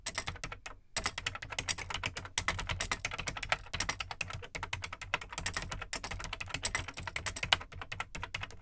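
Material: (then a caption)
Plastic. Fingertips type on the plastic keycaps of an Amstrad CPC 464 home computer, a large hollow black plastic case. Quick, bright clattering clicks run steadily with a hollow low thump under each keystroke, broken by a brief pause near the first second and another just before two and a half seconds. Each click is dry and dies away almost instantly.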